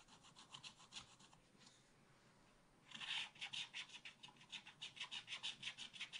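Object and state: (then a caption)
Scratch art paper being scratched. A wooden stylus scratches a black-coated scratch art card in a spiral pad with rapid strokes, making bright, dry rasping scrapes. The strokes come in quick bursts, fade to a faint hiss for about a second, then return louder and faster until the end.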